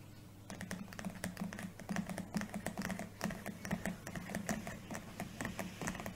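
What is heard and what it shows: An A5 spiral-bound notebook with a dark, glossy, laminated cardboard cover printed with a world map lies flat and closed on a wooden table while both hands tap and scratch the cover with long painted fingernails and fingertips. The result is a quick, uneven run of short, dry, clicky taps mixed with light scratching over a steady low hum.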